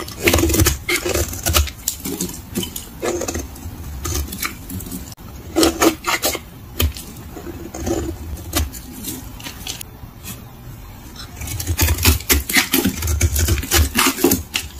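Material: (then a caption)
Soap. A solid rectangular tan bar of dry soap, held in a hand whose fingers wear grey cut-resistant finger guards, is shaved with a utility knife blade that peels off thin curls and flakes. Quick, dry scraping strokes come about four per second in an uneven rhythm, each a crisp, bright rasp over a low rumble. The scraping continues steadily throughout, with a slightly quieter stretch in the middle.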